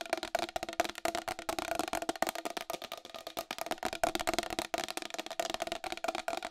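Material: Plastic.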